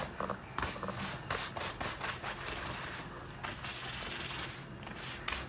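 A wooden-backed bristle brush scrubs over the suede upper of a green Nike suede lace-up boot worn on a foot, while the other hand steadies the boot during a deep clean. Repeated scratchy, hissing brush strokes rasp across the nap, bright and dry with a low rumble underneath.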